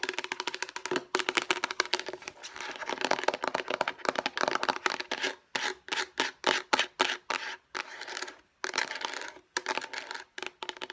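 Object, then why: Plastic food storage box. A hollow, light blue plastic food storage box is rubbed and scratched with fingertips and long nails. The sound is a dry, bright, scratchy rasp in quick bursts, with short rhythmic strokes in the middle and no low end.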